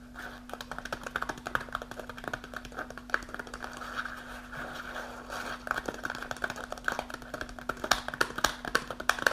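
Long nails tap and scratch quickly on the front of a partly full kraft paper snack pouch held upright. The result is a dense run of sharp, dry ticks and papery scrapes with a crinkly midrange ring and bright edges, all over a faint steady low hum.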